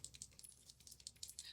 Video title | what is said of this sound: Revamp Your Look: Ultimate Updated Brow Tutorial for 2024! | you shake it you hear that you shake it and the product comes out